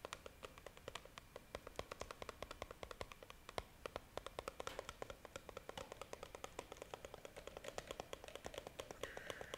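A clear, hand-sized hollow plastic jar with a red plastic screw lid, filled with pink pieces, is held in both hands and tapped and scratched with long painted nails. Rapid, quiet, dry clicks and taps fall in a steady stream, each crisp and bright with almost no ring. Toward the end, a brief scratchy texture rises beneath the taps.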